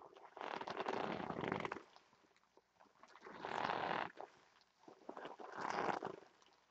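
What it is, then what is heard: Vinyl heart pillow scratched and squeezed. Long nails scratch and rub a large, stuffed, red glossy vinyl heart pillow while hands squeeze its lobes. Three quiet bursts of dense, crinkly scratching and rubbing are heard, centered in the midrange with bright edges, separated by near silence.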